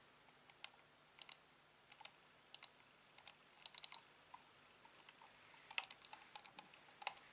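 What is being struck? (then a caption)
Plastic computer mouse. A hand-sized, hollow, black plastic corded computer mouse is clicked by fingertips on its buttons and scroll wheel. Quiet, bright, sharp clicks come in irregular clusters, some as quick doubles and triples, each dying away almost instantly.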